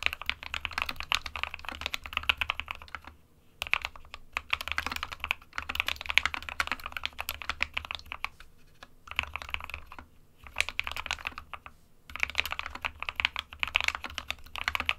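Both hands type with their fingertips on an SK61 60% mechanical keyboard with a white plastic case and plastic keycaps, resting on a printed desk mat. Rapid, bright plastic key taps come in bursts of fast typing, each click short and dry. Brief pauses separate the bursts.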